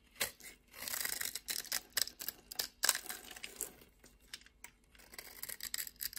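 A utility knife blade scrapes small cubes off a solid orange soap bar, making a run of crisp, bright scraping and crumbling bursts with sharp clicks. The sound is almost entirely high-pitched hiss and crackle with no low body, and each scrape dies away almost at once.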